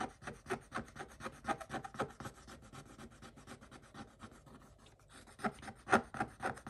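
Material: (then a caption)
Coated paper. A stick scratches across a scratch-off coated paper page in quick, irregular strokes, about two per second. Each stroke is a soft, dry, raspy rub. The scratching quiets through the middle and grows louder again toward the end.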